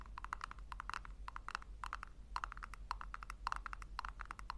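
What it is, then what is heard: Small plastic tub tapped with fingernails. Long nails tap and scratch the bottom and rim of a small, round, hollow pink plastic tub held in the hands. The result is a quick, uneven run of short, dry clicks with a hollow ring around 1 kHz and bright edges, over a steady low hum.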